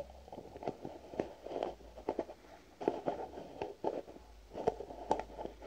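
Fingernails tap on a white plastic cream jar with a green lid, making a string of quiet, clicky taps. Each tap is short and dry with almost no ring, sitting in the mid range, with a few louder clicks scattered through the run.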